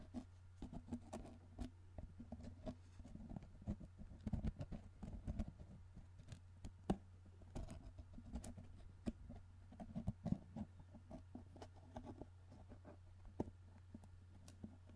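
Fingertips tap, rub and pull at the plastic lid of a tall, hollow cylindrical cardboard Pringles can held in one hand. Quiet, irregular soft taps and short scratchy rubs patter throughout over a steady low hum. Each hit is dull and dies away almost at once.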